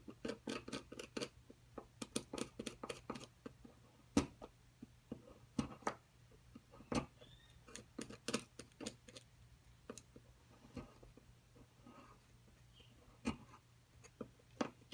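A thin metal pick scratches and chips at the edge of a solid white plaster excavation block. Clusters of sharp, bright clicks and ticks alternate with quieter scratching over a faint low hum, with a few louder isolated taps as pieces chip away.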